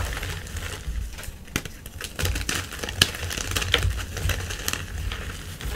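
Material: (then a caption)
Chalk. A white gym chalk block is pressed and crushed with fingertips and painted nails in a tray of chalk powder, the solid block crumbling apart. Dry crunching, crackling and rubbing sounds come in irregular bursts, with sharp bright snaps over a soft low rumble.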